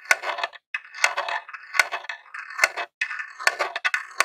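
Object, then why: Small plastic game console. A jewelled metal claw nail taps and scratches the lid and vents of a grey plastic Nintendo mini console, a hollow box. Sharp, bright clicks mix with dry scratchy rasps in irregular bursts separated by brief silences. The sound has no low end and dies away almost instantly.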